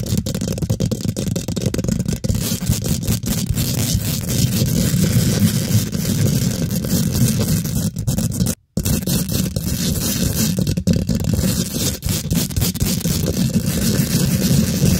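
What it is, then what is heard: Metal mesh microphone grille being scratched. Long pink acrylic nails quickly scratch the hollow steel mesh head of a large microphone, producing a dense, continuous scraping rasp heavy in low rumble with faint bright crackle on top. The scratching runs almost nonstop, broken only by one brief silence just past the midpoint before it resumes at the same steady intensity.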